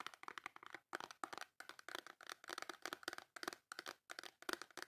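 Long nails rapidly tap and scratch the front of a full, small white cardboard Dove soap box. The result is quick, dry, crinkly clicks and scrapes with a bright papery edge and no low end. They come in short bursts separated by brief silences, and each sound dies away almost instantly.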